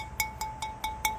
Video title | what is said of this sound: Unloading the Barrel Kiln | when we flick it like that we can listen for cracks